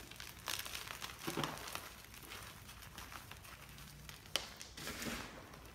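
Two hands crush and rub small white lumps of gym chalk (magnesium carbonate) into powder over a mound of chalk. The sound is a dry, bright crumbling and crinkling, with bursts of grainy crackle and one sharp snap near the end, over a quiet low hum.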